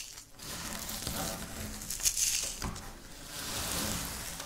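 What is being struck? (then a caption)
Wafer biscuit crumbs. Fingertips with long nails press and rub into a pile of dry, crumbled wafer biscuit on a pinkish speckled flat surface. The crumbs give a dense, bright crackling and scratching, loudest near the middle, with crisp high crunches over a faint low rumble.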